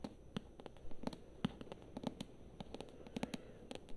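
Long nails tap and scratch the glossy cover of a thick paperback novel held near the face. The result is a quiet, irregular run of short, dry clicks, each with a soft low thump around 200 Hz and a brief bright tick, with no ring. Faint scratching fills the gaps between taps.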